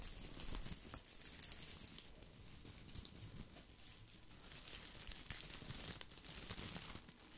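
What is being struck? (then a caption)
Plastic artificial-leaf topiary ball. Fingers rub and scratch the small plastic leaves of a round artificial topiary ball, held in one hand close to the mic. The result is a steady, quiet stream of bright crinkling and scratchy rustles over a soft low rumble, with a few sharper crackles standing out.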